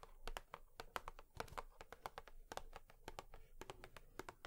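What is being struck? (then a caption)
Cardboard tissue box. Long nails tap quickly on a cardboard tissue box, making a rapid, uneven series of short, dry clicks. Each tap is crisp with a bright edge over a soft, hollow low thud and dies away almost at once.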